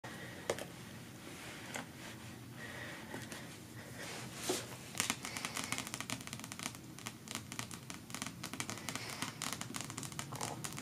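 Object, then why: Paperback book with glossy card cover. Long natural fingernails fast-tap and scratch the glossy card cover of a closed paperback novel, "The Pale Gold of Alaska," lying on other books on a patterned cloth. Sparse clicks in the first few seconds give way to a dense run of quick, bright taps and dry scratches that continue to the end.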